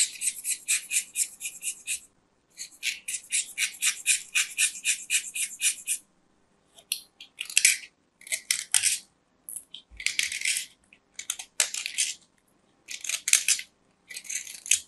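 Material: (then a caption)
Soap. A small, round, solid white soap disc is held in fingers while a metal craft knife shaves its surface and edge. Bursts of bright, crumbly scraping come in quick, irregular runs, separated by short silences.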